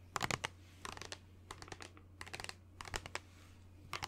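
Fingernails tap and scratch the sides of a hollow white plastic lotion bottle with a blue cap that is held up. Quick clusters of dry, bright, clicky taps alternate with short scratchy strokes. Each sound cuts off almost at once over a steady low hum.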